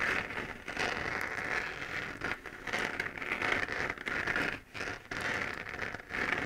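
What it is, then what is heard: Plastic moon lamp scratched with nails. Long nails scratch and tap the textured surface of a hollow, lit 3D-printed plastic moon lamp held in both hands. The result is a dense, crackly, bright scratching with a strong midrange around 2 kHz, broken by brief dips near 2.4 and 4.7 seconds.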